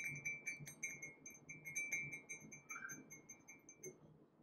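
A large, empty white glazed ceramic coffee mug with gold dots and lettering is held close and tapped with fingertips and nails in a steady ticking rhythm. Each light tap gives a bright, glassy ring near 2.2 kHz with high overtones, which fades within about a quarter second.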